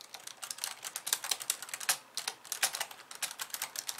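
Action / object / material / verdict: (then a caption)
tap / plastic computer keyboard / plastic / none. Long polished nails type rapidly with both hands on the plastic keys of a compact pink and white plastic computer keyboard. The result is a fast, uneven stream of bright, crisp clicks and taps with almost no low end, each one dying away almost instantly.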